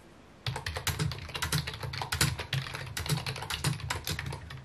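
Fingertips type rapidly on a full-size white/mint plastic computer keyboard with a hollow housing, resting on a wooden desk. After about half a second of quiet, a fast, steady run of key taps follows, each pairing a bright click with a hollow low thud from the housing and dying away quickly.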